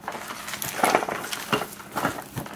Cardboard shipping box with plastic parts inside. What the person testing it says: when I shake my box it sounds like there's dirt Inside the Box